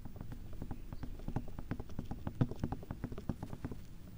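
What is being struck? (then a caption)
Silicone ear shapes of a binaural microphone. Long fake red-tipped nails tap and scratch around the white silicone ear shapes of a 3Dio binaural microphone with a black plastic body. A quick, steady patter of soft, dull taps and brushing scrapes is heard, low and muffled, with each tap dying away almost instantly.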